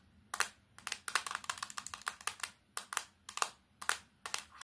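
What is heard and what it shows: A solid plastic Samsung keypad phone is tapped rapidly with long painted nails, first on the front and then on its black plastic back cover. The result is quick, irregular bursts of sharp, dry clicks and clacks that are bright and have no low end. Each tap dies away almost instantly, with short quiet gaps between the clusters.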